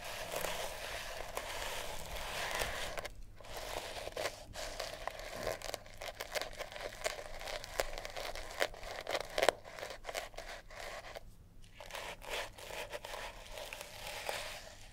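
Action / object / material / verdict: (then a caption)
scrape / sisal rope wrapped cat toy / sisal rope / none. Long natural nails scratch a small, solid, sisal-rope-wrapped cat toy, making a steady run of dry, crackly scraping and crinkling. The fibrous rasps are broadband and bright, with short quiet gaps along the way. Each stroke stops dead with no ring.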